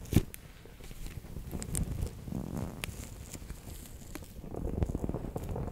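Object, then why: Plastic pouch filled with water beads. A fingertip and nail press and roll over a bear-shaped clear PVC pouch packed with orange water beads, close up. Soft, low squishing and sticky crackles fill the clip, opening with a sharper tap and small bright clicks scattered throughout.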